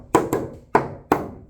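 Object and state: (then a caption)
Solid, rot-free wooden boat timbers. Four sharp knocks on wooden boat timbers, each a crisp, clear tap with a short ring and no dull, deadened thud. The timbers sound solid and free of rot from standing water.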